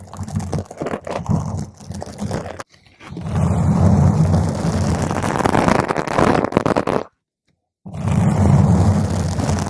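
A round purple foam microphone cover is gripped and scratched rapidly with long nails, producing a dense, low, muffled rumbling scrape. It comes first in short choppy bursts, then as a long continuous roughness. After a brief silence near the seven-second mark, the scratching resumes just as strongly.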